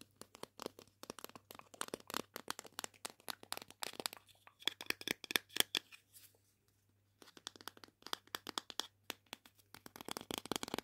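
Small hollow red plastic pretend-food sausage links are held in both hands and tapped and scratched with long painted fingernails. Rapid, dry, high-pitched clicks and scratchy rustles fill the clip, pausing briefly near the seventh second before resuming.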